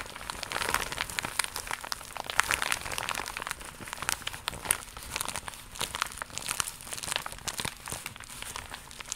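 A flat, holographic faux leather pouch of iridescent embossed vinyl, seemingly empty, is held in both hands and tapped and scratched with long pink nails. The result is a steady stream of dry, crinkly clicks and scratchy rustles, mostly bright with very little low end, with sharp taps that stop instantly.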